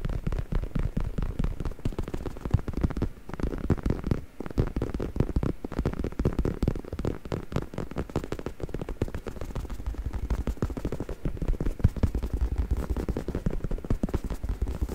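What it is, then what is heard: Faux leather neck pillow. A black, soft, padded stuffed faux leather neck pillow is held steady with one hand while the fingertips of the other hand scratch and tap its top surface. The result is a dense, steady stream of quick, muffled scratches and soft thuds lasting the whole clip, deep and dull with almost no bright edge. Each tap dies away at once.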